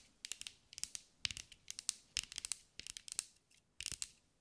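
Long acrylic nails tap and scratch across a green mirror/glass mosaic sphere held in the hands. The result is a quick, uneven series of sharp, bright clicks and crisp ticking scrapes in short clusters, each dying away almost instantly with very little low end.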